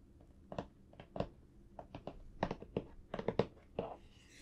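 Fingertips rub and scratch across the flat back of a large printed cardboard toy box, held by hand, hollow with the toy inside. About thirteen short, dry, quiet scratches come in quick uneven bursts with no ring. A longer, softer brush ends the clip and fades into faint high hiss.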